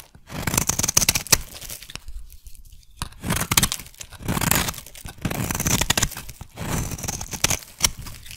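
A solid lilac soap bar is scraped with a metal blade, with flaky curls building up. Bursts of dry, crisp scraping and crinkly tearing come in several strokes, broken by a short pause. Each burst carries bright, high-pitched rasping over a softer low rustle.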